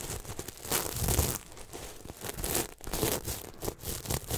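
Fingertips scratch and rub up and down over the sequins of a red and silver sequin throw pillow held close to the mic. The result is a continuous, uneven run of crinkly, tearing scrapes and rustles, with bright hiss on top and soft low thumps underneath.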